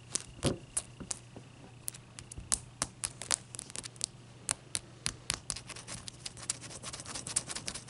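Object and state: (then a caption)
Large ice cube tapped with nails. A large, clear, solid ice cube resting on a towel is moved around at the start and then tapped with long nails. Quick, sharp, bright clicks come at an uneven pace with brief scratchy touches between them, over a steady low hum. Each tap dies away almost at once.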